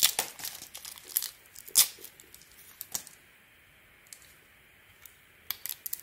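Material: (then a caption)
Soap. A metal blade scrapes and cuts curls of gold glitter coating from a hand-sized solid soap bar with a white core, held in the palm. Dry, bright crinkling and tearing scrapes come in irregular bursts, loudest in the first two seconds, then thin out to a quiet hiss. A few short crisp cuts return near the end.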